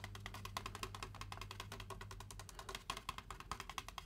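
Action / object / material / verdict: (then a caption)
tap / styrofoam drink cup / styrofoam / none. Fingertips tap quickly on the printed side wall of a large, hollow white foam Braum's drink cup held in both hands, with its contents not visible. The result is a rapid, uneven stream of short, dry, woodblock-like clicks with a hollow knock near 1 kHz and bright edges. A low steady hum sits underneath for the first two and a half seconds.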